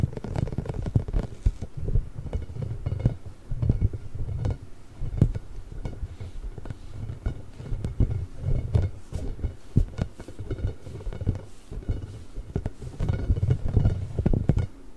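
A large, pink, hollow, inflated rubber ball covered in small nubs is held behind the microphone and scratched and rubbed with the long nails and fingertips of both hands. The result is a steady, muffled, boomy rumble of low scratching and rubbing, dotted with quick soft ticks and swelling in waves.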